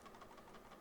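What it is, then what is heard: Loose rattling part inside a plastic computer mouse. A plastic SteelSeries Sensei 310 gaming mouse is shaken, producing a quiet, rapid, continuous rattle from a loose part inside, with small clicks repeating throughout. This is the abnormal internal rattle that many users complain about, possibly from the sensor or the scroll wheel.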